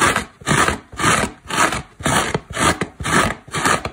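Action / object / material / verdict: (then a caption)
scrape / synthetic foam car sponge / foam / none. Long black nails scratch and dig into a large, dry synthetic foam car sponge, a solid porous block, knocking small crumbs loose. About eight steady, rhythmic rasping strokes are heard, each a dry, bright, airy scrape that fades quickly before the next.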